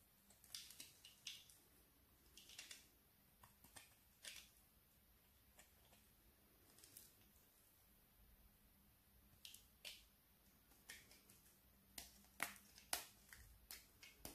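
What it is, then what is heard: Soap plate carved with a knife. A thin, flat, solid light-green bar soap slice, held in the fingers, is scraped and carved with a small metal knife blade that shaves off strips. The result is an irregular series of short, crisp, bright scraping and crackling strokes over a quiet background with a faint low hum.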